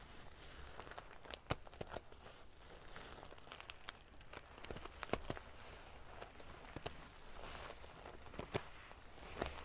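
A large decorative pillow covered in rows of small silver metal sequins sewn onto fabric is scratched and ruffled by long painted fingernails. Soft, steady crinkling and rustling is heard, broken by sharp bright clicks and ticks as the metal pieces flick against each other.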